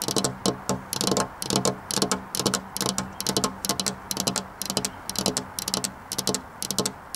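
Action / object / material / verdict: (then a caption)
tap / glass window pane with fingernails / glass / none. Long black-polished nails tap on a flat glass window pane set in a metal rail. Quick, bright clicking taps come in uneven bursts throughout, each tick dying away almost at once with a faint glassy ring.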